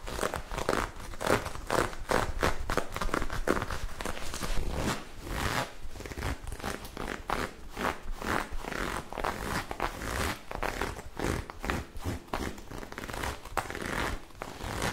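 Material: Knit fabric.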